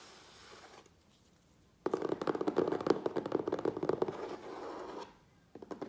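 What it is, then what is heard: Cardboard shipping box. Fingertips and nails tap and scratch the sides of a closed, hollow, medium USPS Priority Mail corrugated cardboard box sitting on a wooden table, with both hands on the box. A faint scratch and a short pause give way to a burst of fast, irregular tapping with a hollow, mid-pitched resonance. It then fades into softer scratching, and after a brief silence a few final taps close the clip.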